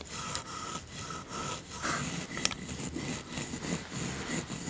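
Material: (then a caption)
Wood. A bamboo toothbrush with blue bristles brushes back and forth over the small, solid, painted wooden teeth of a toy dental set, while long-nailed fingers rest near the teeth. The strokes make a steady, rhythmic bristly scrape with a bright hiss, broken by a few brief sharp clicks.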